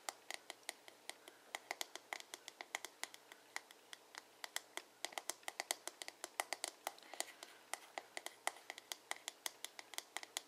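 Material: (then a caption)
Plastic. Fingertips and nails tap and scratch the glossy dark blue plastic back of a paddle hairbrush, a hollow shell. About 61 quiet, sharp, bright clicks come in a quick, uneven stream over a faint scratching hiss, each dying away almost at once.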